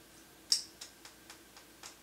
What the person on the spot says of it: wie ihr vielleicht hört, alles aus Kunststoff